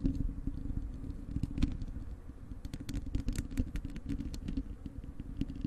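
Long acrylic nails on both hands scratch the bare, hollow wire-mesh metal grille of a large desktop microphone. The result is a continuous, heavy low rumble threaded with rapid, sharp, bright clicks and scrapes that rise and fall in loudness.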